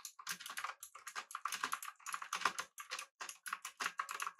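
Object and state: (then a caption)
Mechanical keyboard with round plastic keycaps. Fingertips rapidly press the keys of a pink backlit mechanical keyboard with an aluminum body and round plastic keycaps, resting on a desk. Quick bursts of bright, crisp clacks come in uneven runs with short pauses between them. Each keystroke has a mid-pitched click near 1 kHz and dies away almost instantly.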